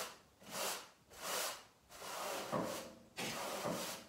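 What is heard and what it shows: A long-handled stiff garden brush is swept back and forth across a large brown pile carpet covering a living-room floor and littered with small debris. Four broad, hissing bristle strokes swell and fade, each a bright, rough scrape with a soft rustling body.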